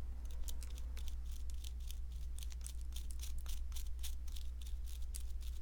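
A palm-sized, solid white plaster block shaped like an ammonite is scraped and picked, first with a wooden stick and then with a metal pick, while fine plaster dust falls away. Quick, bright scratching strokes come in a steady run over a constant low hum.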